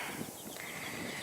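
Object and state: Nothing is struck.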